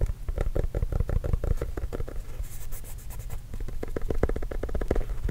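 A full-size orange leather Spalding basketball, signed and bearing a Trail Blazers logo, hollow and inflated, is tapped and scratched with fingernails. Rapid, soft, dull taps sound low and hollow with almost no ring, and a brief, brighter scratching passage comes in the middle before the quick tapping resumes.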